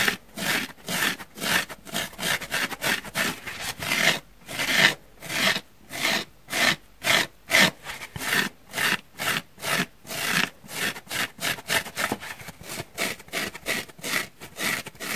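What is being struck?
Foam sponge.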